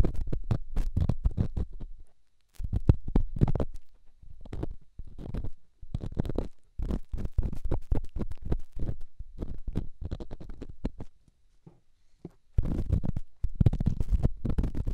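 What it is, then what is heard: Rough stone rubbed on a silicone ear microphone. A small, solid, rough rock held in fingertips is rubbed against a silicone microphone ear, making deep, close, rumbling scrapes and scratches. The rubbing comes in dense bursts separated by brief quiet gaps near 2.2 s, 4.5 s and 11.2–12.5 s, and the sound is almost entirely low in pitch.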